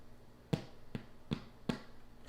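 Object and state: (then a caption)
Hollow-sounding, baked-through bread loaf. A cooled loaf of Dutch oven bread is tapped four times, giving quiet, short, low, hollow thuds. The hollow sound shows the loaf is baked through.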